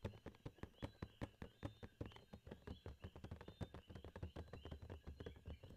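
A hollow Funko Pop cardboard box with a plastic window and a figure inside, held near the camera, is tapped rapidly with fingertips and nails. A quick, steady patter of dull, low, hollow thumps is heard, each with a faint click on top and almost no ring.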